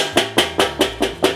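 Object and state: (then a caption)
Thinner steel grill lid. Knocking on the enameled steel lid of a Weber kettle grill produces six quick, evenly spaced knocks. Each knock is a short, bright, hollow tap with a mid-range tone that fades within about a tenth of a second. The lid is thinner than the Expert Grill's lid, likely to make it easier to maneuver.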